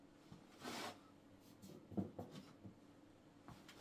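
A hollow block of wood is knocked several times, giving short, dull, low wooden knocks with a brief hollow resonance that dies away almost immediately. A soft rubbing or scraping sound comes first, and the knocks cluster around the two-second mark, with quieter taps spread around them.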